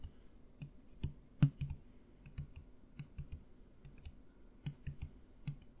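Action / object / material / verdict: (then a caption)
tap / plastic mouthwash bottle partly filled with liquid / plastic / none. Fingertips tap a clear plastic Listerine mouthwash bottle, held upright and partly full of blue-green liquid, in a quick, irregular run of soft taps. Each tap is a quiet, low, muffled thud with a faint hollow knock that dies away almost at once, with one louder tap early on.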